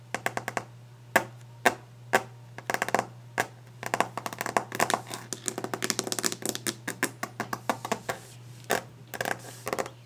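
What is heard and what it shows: Long painted nails tap fast and aggressively on the solid, polished top of a varnished wooden desk. Dense bursts of sharp, bright clicks come in quick, uneven clusters, each dying away almost instantly, over a steady low hum.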